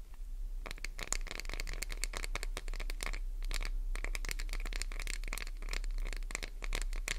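Long nails scratch a solid green Duru glycerin soap bar up close, producing rapid, crisp, bright scratching strokes in dense bursts with brief pauses. A steady low hum runs underneath throughout.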